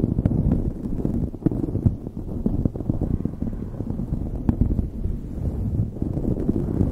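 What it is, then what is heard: Knit fabric beanie scratched. Long nails scratch a light blue knit beanie fitted over a microphone, producing a dense, muffled rustling and scraping close to the mic. The sound is heavy and low, with rapid soft crackles and occasional sharper ticks, and almost no high end.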